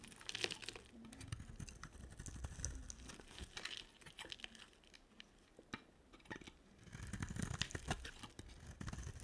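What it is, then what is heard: Dry soap bar being shaved. A solid, red-coated white bar of dry soap, held in the hand, is shaved with a box cutter blade. The result is quiet, dry, crinkly scraping and crunching, made of many rapid, crisp little cuts with bright high-end texture. The sound eases into a sparser, softer stretch midway before the dense shaving picks up again.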